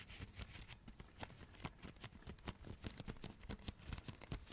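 A rolled-up glossy Christmas wrapping paper, a hollow cylinder held in both hands, is tapped and scratched with long red nails. Quiet, irregular taps land with a dull, hollow low thump, mixed with bright, papery scratching between them. Each tap dies away almost instantly.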